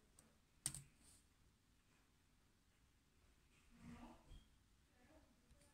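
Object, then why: Plastic laptop keyboard keys. Fingertips tap the black plastic keys of a silver laptop keyboard while typing. One sharp, bright click stands out early, followed by softer, duller taps later in a quiet, low background hum.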